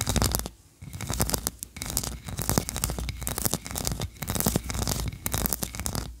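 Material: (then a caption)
Wax. Long nails scratch the tiered ridges of a solid white, ribbed wax tree-shaped candle, then fingers flutter near its top. The result is a dense run of quick, dry, bright scratches over a low rumbling undertone, with only one brief pause near the start.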